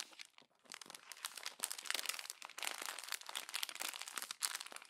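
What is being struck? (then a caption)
Glossy paper magazine pages. A fist crumples the pages of a glossy paper magazine and a hand turns a page, giving a steady stream of dense, bright crinkling and crackling. The sound is almost entirely high-pitched, with no low end, and swells and dips in quick irregular bursts.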